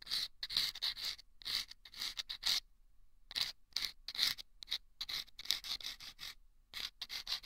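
A thin bamboo ear pick scrapes inside a small, taped, hollow paper tube lined with sandpaper that sits on the left ear of a microphone. The result is a run of short, dry, bright rasping scrapes in quick bursts with brief silent gaps, including one longer pause, and almost no low end.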